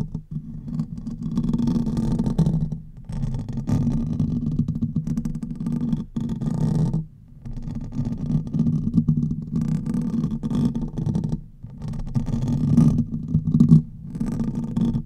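Fingernails on both hands scratch the hollow metal mesh grille of a silver condenser microphone. It makes a dense, muffled, low rumbling scrape with a steady pitch around 156 Hz, broken by a few short pauses near 3, 7 and 11.5 seconds.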